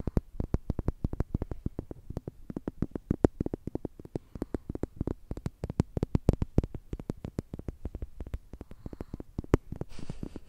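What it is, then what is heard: Plastic tube toy. A slim orange plastic tube toy with a green end, likely hollow, is tapped and scratched with long nails. Fast, dry clicks and taps follow one another through the whole clip, with short, low-weighted hits and almost no ring. A faint hiss rises near the end.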